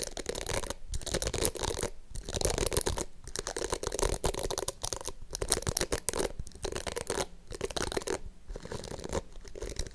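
Long nails scratch across the plastic bristles of a small pink plastic detangling brush, then tap its glittery rounded plastic back. The result is dense bursts of crisp, rapid scratching and clicking, broken by short silent pauses.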